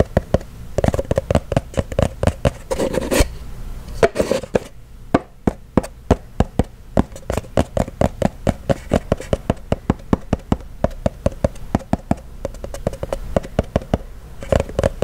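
A small, hollow, cylindrical kraft-paper cardboard box is held close to the mic and tapped and scratched with fingertips and nails. A steady stream of short, dry, hollow taps with a low-mid body and almost no ring is broken by brief rustling scratches around three and four seconds.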